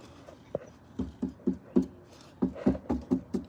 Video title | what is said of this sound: How to do a change of antifreeze on a utility quad or any quad really#fourwheelers | if it feels solid, it's good. if it sounds hollow and you need some.